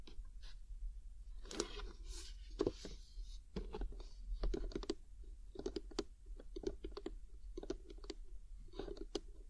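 Long nails tap and click on the lid of a printed "Lovely Day" cardboard gift box, medium-sized and hollow, held upright in both hands. It makes an irregular string of short, dry clicks, each with a bright tick and a brief hollow thud, over a steady low hum.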